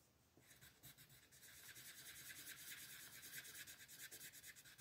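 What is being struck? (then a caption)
Wooden colored pencil rubbing on a paper page on a wooden table. A yellow wooden colored pencil rubs back and forth across a printed paper mandala coloring book page lying flat on a wooden table, coloring the center. After a brief quiet start, soft, bright, scratchy rubbing strokes follow one another in a loose, steady rhythm. The strokes are dry and hissy, with almost no low end.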